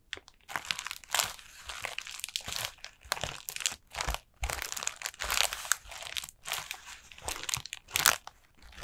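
A collapsed, hollow, light orange paper Halloween lantern with a black plastic base at its centre is tapped and scratched across its pleated paper with long nails. Bursts of bright, dry crinkling and crunching come in quick irregular clusters with brief pauses, and each sound dies away almost at once.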